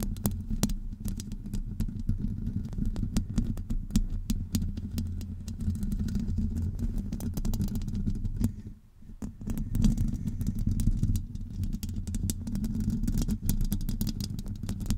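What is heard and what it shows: A hollow metal wire-mesh microphone grille is scratched on its sides with long acrylic nails. The result is a dense, low, rumbling scrape with a steady hum and many sharp clicky ticks spread throughout. There is a brief near-silent pause just before the nine-second mark, after which the scratching resumes.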